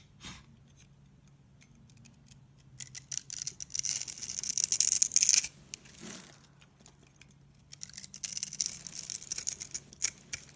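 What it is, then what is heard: Dry soap bar scraped. A palm-sized solid green bar of dry soap with an embossed brand name, held in one hand with long dark blue nails, is shaved and scraped with a small bladed cutting tool with an orange handle. Dry, crisp scraping and crunching come in irregular bursts that are almost entirely high and bright, with a short quiet stretch between the louder runs. Soap curls and crumbs fall onto a pile of green soap shavings below.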